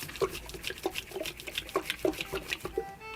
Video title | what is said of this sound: 病気？食べすぎ？奇形？異常なまでにお腹が膨れた『ハマチ』のお腹の中から出てきた物が意外すぎた！ | Did you hear that? Sound of liquid?